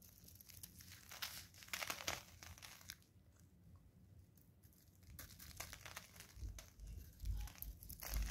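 A craft knife blade scrapes and shaves thin curls off a palm-sized solid blue bar of soap held in green rubber-gloved hands, with the shavings falling onto crinkled paper below. Bright, crinkly scraping strokes come in irregular bursts, with a quieter stretch in the middle and low thuds near the end.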